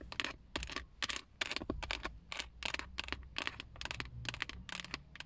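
Long acrylic nails tap and scratch the textured black plastic airbag cover, a hollow molded shell, near the chrome emblem at the center of a Toyota steering wheel. Bursts of short, bright clicks come in quick clusters, with scratchy, crisp plastic ticks that stop dead with no ring.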